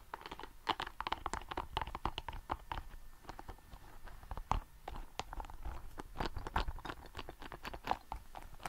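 A small, hollow, red translucent soft rubber ball covered in spikes is squeezed and scratched with fingertips. It gives a dense run of short, dry crackles and scratchy clicks with a crunchy midrange tone and soft low thumps underneath. The taps come quickly and die away almost at once.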